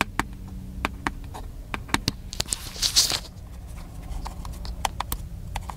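Fingertips tap the casing of a small black handheld plastic camcorder, giving around twenty short, dry, bright clicks spread unevenly across the clip. Near the middle comes a brief, brighter scratchy rustle. A faint low hum runs underneath throughout.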